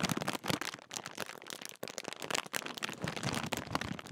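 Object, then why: Metallised plastic crisp packet. Both hands crumple and crinkle the top of a large Walkers crisp bag made of metallised plastic film. The result is a dense, continuous run of sharp, bright crackles with little low end, broken by brief dips near 1.8 and 2.5 seconds.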